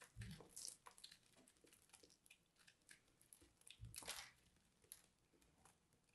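A small dark carving blade scrapes and cuts flakes off a hand-sized, porous, crumbly purple soap ball held in the fingers. The result is a run of quiet, dry, crunchy scrapes and crumbling crackles with bright, hissy edges. Louder cutting bursts come near the start and around the four-second mark, with soft low thuds underneath.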